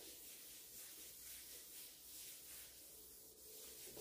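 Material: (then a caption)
Wood. A hand in a green rubber glove rubs and buffs the glossy reddish-brown varnished top of a large solid wooden dining table with a white cloth, polishing it with beeswax. A soft, steady, high, hissy rubbing sound continues throughout, rising and falling gently with the strokes.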